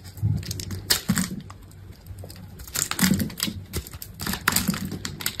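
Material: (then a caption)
Soap. A metal box-cutter blade scrapes cubes from the grid-scored face of a solid green soap bar with a blue coated layer. The clip has bursts of dry, crisp scraping and crackling clicks with a bright edge, over a soft low rumble. Short pauses separate the bursts as the pieces break away.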